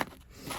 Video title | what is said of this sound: Broken fuel lines/connectors Airbox Removal Install 1994 Honda Magna 750 VF750C FULL VIDEO | sounds like plastic. Doesn't even sound like a hose.